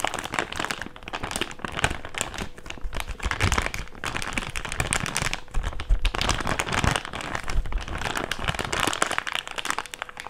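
An empty, thick, clear plastic bag is unfolded and crinkled with both hands. Dense, continuous crinkling and crackling runs throughout at a fairly steady level, bright and broad, with low handling rumble underneath and a faint steady tone near 500 Hz.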